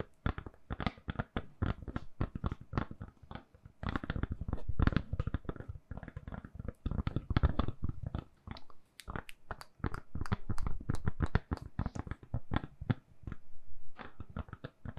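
The back of a handheld smartphone in a lilac (purple) silicone soft case, held in both hands, is tapped and scratched with long nails. Many rapid, dull, low taps with sharp clicky edges come in irregular bursts, mixed with soft scratching and brief pauses. Each tap dies away almost instantly.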